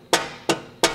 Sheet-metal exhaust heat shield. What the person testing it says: You should be able to tap it. Just kind of get that dead noise, no metal on metal contact noise.